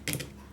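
A dead, completely brown Aztekium hintonii cactus about 26 years old is tapped on its plant body. It gives short, dry, hollow-sounding taps with a clicky, papery top and a low thud near 137 Hz. The taps die away almost at once, and faint background noise stays under them.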